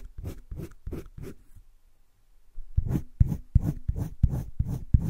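A green wooden colored pencil shades a drawing on a flat page of a spiral-bound sketchbook, making short, low scratching and rubbing strokes. About four strokes come first, then a brief near-silent pause, then a louder run of about eight quick strokes.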